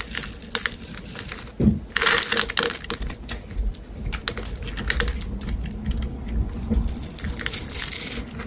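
A hand-sized, solid rectangular pale green bar of soap is held in the hand while a metal blade cuts and scrapes grid-scored layers off it. Dense, crisp scraping and crumbly crackles sound as small cubes break away, with bright, dry clicks and a low soft rumble beneath.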